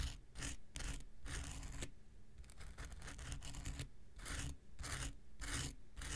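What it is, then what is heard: Foam nail buffer block scraped with a blade. A small, solid, rectangular pink foam nail buffer block is scratched and scraped with an X-Acto knife. Repeated rasping strokes come in bright, hissy bursts over a steady low rumble, with short quieter gaps between passes.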